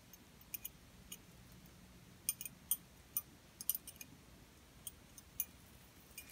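A small open gold-tone metal heart-shaped ornament with a rhinestone ribbon emblem inside, hanging from a pink ribbon, is held in the hand and tapped and scratched with long purple-painted nails. About seventeen quiet, sharp, bright metallic ticks and clicks are spaced irregularly over a faint low hum. Each tick dies away almost instantly, with no ringing.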